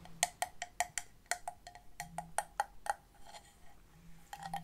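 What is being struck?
Large seashell.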